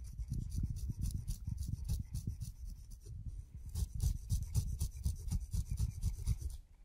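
A steel razor blade is drawn across the hairy skin of a whole, solid, fuzzy kiwi fruit, scraping the fuzz, heard in extreme close-up. Quick, uneven scraping strokes come about four per second, each with a soft low rub and a bright, airy rasp. The steady scratching fades away in the last half-second.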